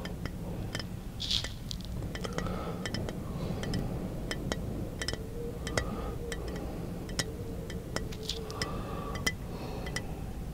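Fingertips tap the side of a small, hollow brown glass bottle held in one hand, producing a run of quick, bright clinks with short ringing tones. The taps come in an uneven rhythm over a steady low hum.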